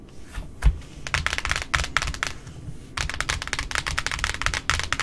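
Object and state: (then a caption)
Cardboard ribbon spool. Long metallic nails tap rapidly on the flat face of a large white cardboard spool with a plastic centre hub, wound with pink ribbon. The result is a quick, crisp clatter of bright, dry clicks over soft, hollow low thumps. The tapping eases briefly in the middle, then resumes in denser bursts.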